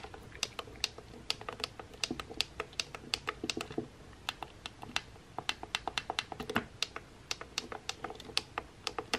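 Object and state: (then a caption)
Plastic hair straightener buttons. Fingertips and nails repeatedly press and tap the small buttons on a pink plastic hair straightener with a black cord. About 45 quick, bright plastic clicks sound at an uneven typing-like pace, each dry and short with almost no low end. There is a brief lull near the middle before the tapping picks up again.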